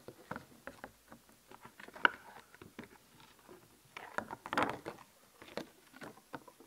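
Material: Plastic.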